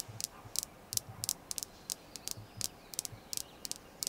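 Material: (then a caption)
Jasper. Long nails tap and scratch a small, solid, polished red jasper star, giving about 14 short, bright, clicky taps at an uneven pace. The taps have almost no ring, with soft scratching between them.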